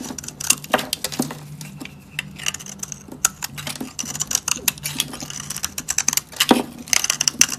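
A solid, dry pink soap bar held in the hand is carved with a short metal blade into layered flakes. The cutting makes a rapid series of crisp, bright scraping crackles and dry clicks that die away almost at once, over a faint low hum.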